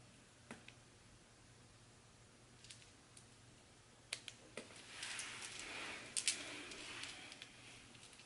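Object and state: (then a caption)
Bar of soap being shaved. A small solid blue bar of soap, held in one hand with long white nails, is shaved with a red handheld peeler in repeated scraping strokes, curled shavings piling up below. Quiet, sharp, bright clicks and ticks come at uneven intervals, then a longer hissy scrape swells in the middle before easing. The sound is high and dry, centered near 2.3 kHz with almost no low end, and each click dies away quickly.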